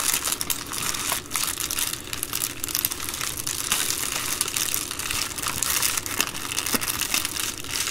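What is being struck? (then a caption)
Plastic poly bubble mailer. An empty Amazon Prime poly bubble mailer is folded and crinkled along its top edge by fingertips with long nails. A steady, dense plastic crinkling fills the clip, bright and hissy with little low end and quick crackles throughout.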